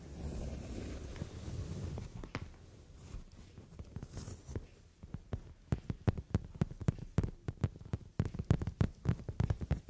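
Fingers and long nails rub and scratch the surface of a brown leather padded sofa seat. A low, steady rubbing murmur fills the first few seconds, then gives way to a quick, uneven series of sharp, dry scratches and taps that grow louder toward the end.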